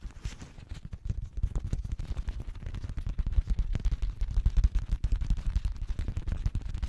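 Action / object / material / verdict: scrape / thin plastic drink bottle / plastic / none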